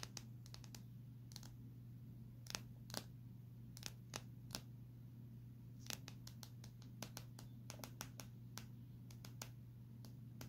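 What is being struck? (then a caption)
Smartphone with metal and plastic side frame. Long nails tap and scratch along the metal and plastic side frame of a small, solid Samsung smartphone held edge-on. Sharp, bright clicks come in irregular bursts over a quiet, steady low hum, each click dying away almost instantly.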